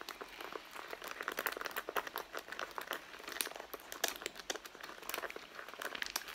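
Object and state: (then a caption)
Leather handbag being scratched. Long blue nails scratch along the side and seams of a medium, hollow, soft red pebbled-leather handbag. The result is a dense run of quick, dry, crinkly scratching strokes with a bright hiss and almost no low end.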